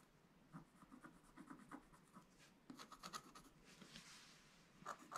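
A wooden stylus scratches fine lines into a flat black-coated scratch-art card page. The result is a series of short, quiet, dry scrapes and ticks with a light bright edge, arriving in uneven clusters with brief pauses between strokes.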